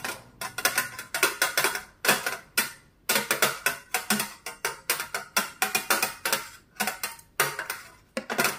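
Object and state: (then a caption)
Glass mirror tapped with metal claws. Long pointed metal claw finger caps on both hands tap a flat, solid, medium-sized round glass mirror lying on a wooden table. The result is a rapid, irregular stream of sharp clicking taps in quick bursts with brief pauses. Each tap is bright and glassy, ringing briefly around 1.4 kHz with almost no low end.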